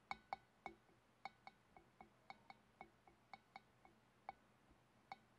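Long dark-painted nails tap the sides of a large, clear, empty glass fish bowl with a wavy rim, held in both hands. Seventeen light, uneven clinks each give a brief glassy ping near 785 Hz with a bright overtone, and the taps vary in strength. Each tap fades almost instantly, leaving quiet gaps between them.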